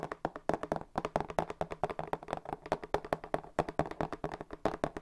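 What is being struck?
Corrugated cardboard box.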